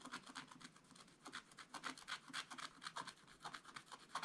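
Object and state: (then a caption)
Scratch-art paper page. A wooden stylus scratches strokes into a black coated scratch-art page in a spiral book, working on the tractor picture. Quiet, dry scratching strokes come in a quick, uneven series, each a short bright rasp with almost no low end.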